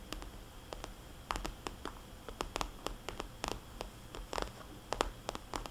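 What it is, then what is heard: Vinyl cosmetics bag tapped with nails. Long dark nails tap and scratch across the surface of a small red polka-dot cosmetics bag made of glossy vinyl. The quiet clip holds a rapid, irregular run of short, crisp clicks with a soft, hollow tone and bright edges. Light scratching fills the gaps over a faint low background.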